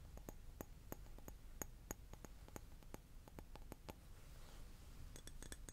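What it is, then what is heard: Glass tapped. A glass object is tapped in a quick, irregular series of short, bright clinks with a high ringing tone that dies away almost at once. Between the taps, a low, steady rumble sits underneath, and the taps come faster and closer together toward the end.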